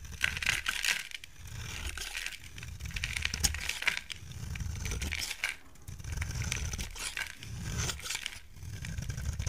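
A solid pink soap bar held in hand is shaved with a utility knife blade, fine curls coming off. Repeated crisp, dry scraping strokes with bright crackling detail rise and fall over a low, soft rumble, with brief pauses between passes.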